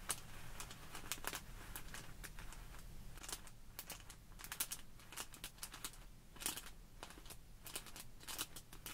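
Long nails scratch and pinch a small clear plastic bag full of tiny white polystyrene foam beads on a wooden table while fingers squeeze the beads. The result is quiet, quick bright crinkles and scratchy clicks over a soft low rumble.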